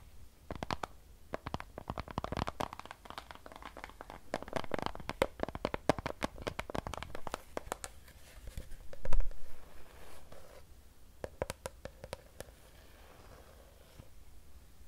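Long nails scratch and tap the side of a hollow Fiji plastic water bottle filled with water. Dense clicking taps and scratchy rubbing carry deep, low-heavy thumps, with a louder crinkling swell near the end of the clip.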